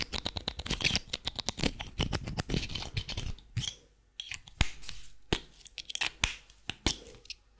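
A small white plastic highlighter pen with a yellow-green band is held in both hands and tapped and scratched with long painted fingernails. A rapid run of short, dry, bright clicks and scratchy rustles fills the first half, drops to near silence just before the 4-second mark, then returns as sparser, sharper taps with soft scratching between them.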